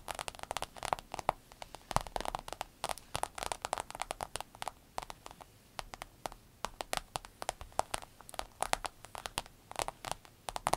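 A rainbow holographic vinyl fanny pack lies flat, soft and hollow, while both hands tap and scratch its glossy vinyl with long pointed acrylic nails. Quick, dry clicks and crinkly scratches patter in dense, uneven bursts with a mid-toned snap and bright edges, each sound dying away almost at once.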